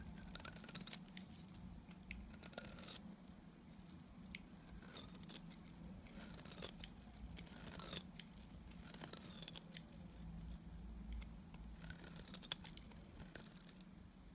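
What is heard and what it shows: A solid white block of dry Timotei soap held in the fingers is shaved with a box cutter blade. The clip is a quiet run of crisp, bright scraping and cutting strokes with a crackly, crunchy texture over a steady low hum.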